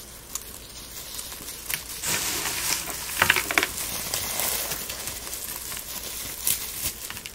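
Gloved fingers rub and crumble dried rose petals and small fragments into flakes. The result is a soft, steady, dry crinkling and crackling that is mostly bright, with a few sharper crisp snaps standing out near the middle and end.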